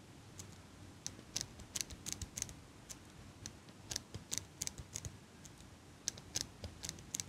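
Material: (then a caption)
Metal. A small metal eyelash curler is held in hands with long pink nails close to the mic while its handles are clicked and squeezed and the nails tap on the metal frame. Quiet, bright, dry clicks and ticks come in irregular bursts over a soft low hiss, each dying away at once with no ring.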